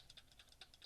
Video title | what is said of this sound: Everyone Loves This Mac Mini Pro | all you hear is this little power button rattling around, but it doesn't feel like it moves at all